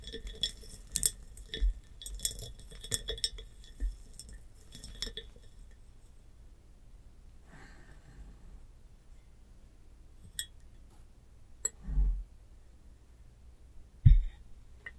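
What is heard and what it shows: A large, clear, hollow and empty hobnail glass jar with a metal clamp lid is tapped with long nails, giving a quick run of bright, glassy clinks and taps that ring only briefly over the first six seconds. After a quiet stretch with a few faint ticks, the jar is tilted onto its side, producing a couple of louder, lower knocks near the end.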